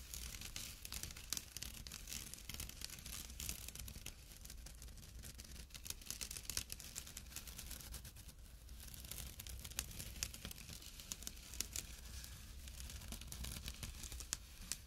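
Fingertips and short nails scratch a small, empty jute burlap drawstring pouch resting on dark cloth. The result is a continuous, quiet, dense scratching rustle with a bright, hissy high end and many tiny sharp flicks, over a steady low hum.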